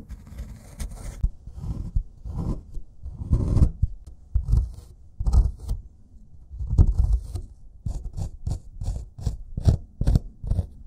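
A solid plaster excavation block is scraped with a metal pick, then scratched and poked with a plastic stick inside a dug hollow. The first part is a run of dull, low, gritty scraping bursts. Toward the end these give way to shorter, separate tapping pokes with brief bright clicks.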